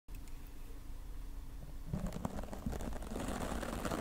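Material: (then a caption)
Foam. A hand-held, oval, wooden-backed natural-bristle dry brush is swept over a solid, soft, dark grey foam windscreen on a microphone, with long nails resting on the foam. The first two seconds are a soft, muffled rumbling brush over a faint steady low tone. Then the strokes grow louder, with scratchy, crackling brushing bursts over a heavy low-end rumble.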